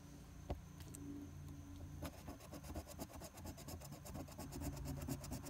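A silver coin scrapes the latex coating in the Game 2 area of a flat paper lottery scratch-off ticket (#023) resting on a tabletop, using quick strokes. After a couple of sharp early scratches, a rapid run of dry, rasping strokes follows over a steady low hum.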